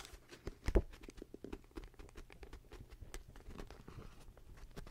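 A medium, solid paperback manga book with paper pages is held in hand while its pages are flipped and riffled with fingers and long nails. Quick soft page taps and rustles patter throughout, with the loudest flick near the start before settling into steady, quiet riffling.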